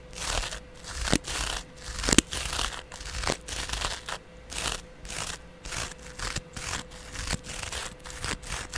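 A flat, palm-sized, porous yellow cellulose sponge held in the hand is scratched along its surface with a double-edge razor blade. The result is a series of dry, bright, crinkly scrapes in short, uneven bursts, with a faint steady hum underneath.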